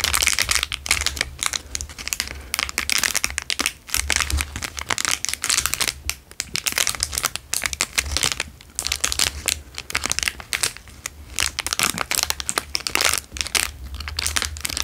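A square clear plastic wrapper is crinkled and squeezed between fingers, giving a steady stream of sharp, bright crackles and rustles that swell and ease in bursts. A faint low hum sits underneath throughout.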